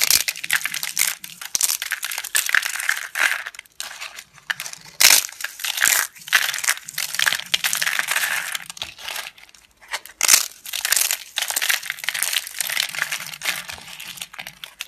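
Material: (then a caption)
Soap. Fingertips with long red nails crush thin, solid, dry, brittle slices of yellow household laundry soap laid on a tabletop, crumbling them into flakes. Dense, bright, dry crunching and crackling comes in rapid bursts with brief pauses, each snap cutting off instantly with no ring.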